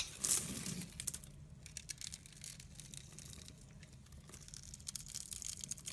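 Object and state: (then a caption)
Glycerin soap bar being carved. A solid translucent red glycerin soap bar held in the hand is scored across its surface with a utility blade, and small cubes are shaved off. The result is a soft run of bright scratching and crisp cutting, loudest at the start, then quieter, irregular scraping that swells again near the end.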